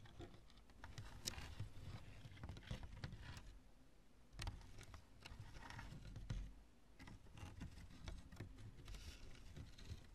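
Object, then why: Chunk of cured polyurethane spray foam. Long nails tap and scratch across the knobs of a lumpy, light chunk of cured polyurethane spray foam used in construction. The result is quiet, dry, irregular ticks and brief scratchy rustles over a steady low rumble, each tap dying away almost instantly.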